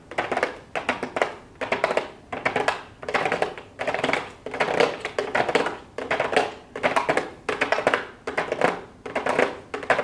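Long blue acrylic nails tap rapidly with the fingertips on a small, hollow pink cardboard makeup box with a clear plastic window, with some minor scratching. The sound is quick, bright clicking in short bursts that repeat roughly every second, with a hollow midrange tone and a very brief ring.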